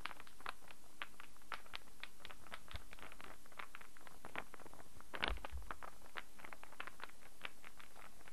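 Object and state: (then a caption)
Wooden star puzzle. A small star-shaped puzzle made of light, unfinished wood with solid pieces is turned in the hands, tapped and scratched with fingernails. It produces a quiet, steady run of short, dry clicks and light taps, with one slightly stronger knock near the five-second mark, over a faint low hum.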